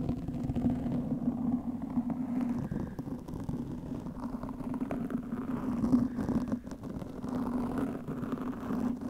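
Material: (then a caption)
Foam. Long nails scratch a black, soft porous foam windscreen over a microphone, making a dense, continuous scratchy rustle. A steady low hum sits underneath, with almost nothing bright on top. The sound swells and eases slightly but never stops for the whole clip.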